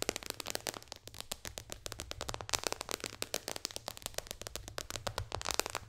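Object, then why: Tablet glass touchscreen. Long dark fingernails of both hands tap fast on the solid glass touchscreen of an iPad lying flat on a lap. Roughly forty sharp, bright clicks come in a quick, uneven run, each dying away almost instantly with no ring, over a faint low hum.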